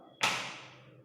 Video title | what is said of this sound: KELAS 5: TEMA A, Ilmu Pengetahuan Alam (Tulang, Otot dan Sendi) | kalau misalnya kita gini tuh, wah, kencang banget. Di dalamnya tuh hampir nggak ada ruang, ya.